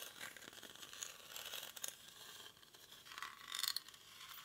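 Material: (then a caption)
Rattan. Short fingernails scratch and rub the weave of a hollow, cylindrical woven rattan or reed basket held in both hands. The result is a quiet, dry, bright crackling scrape with no low end, made of rapid fine ticks that swell in two brighter bursts.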